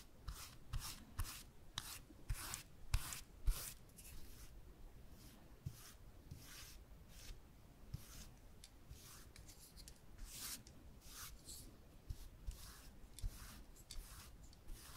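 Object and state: Plywood board.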